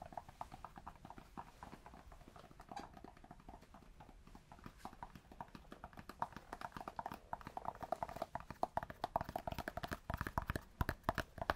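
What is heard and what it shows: Cork is tapped both close to and farther from the microphone, giving rapid, dull, hollow knocks with a clip-clop quality and a mid-range tone. The taps run quietly at first, then grow louder and denser toward the end, each one dying away almost instantly.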